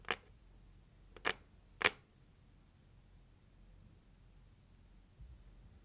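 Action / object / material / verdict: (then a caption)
tap / cardboard gift box lid / cardboard / none. Long acrylic nails slowly tap the lid of a closed, hollow, red printed heart-shaped cardboard gift box. Three sharp, bright clicks land in the first two seconds, each dying away almost instantly, with the last one loudest. The rest is quiet background hiss with a faint soft bump near the end.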